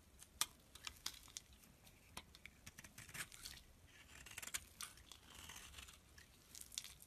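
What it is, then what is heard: Bar soap being shaved. A utility knife blade shaves thin flakes off a turquoise rectangular bar of solid soap held in the hand. The sound is a quiet run of crisp, dry scraping and crackling ticks, mostly high and bright with little low end. Short sharp snaps stand out over a soft, continuous shaving hiss.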